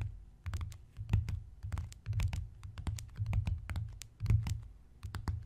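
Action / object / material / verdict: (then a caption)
tap / leather-covered notebook / leather / none. Both hands tap quickly with the fingertips and scratch with the nails on the cover of a closed, embossed, brown leather-look notebook lying flat. Soft, low thuds arrive in quick clustered bursts, mixed with bright, crisp clicks and scratchy ticks that stop almost at once.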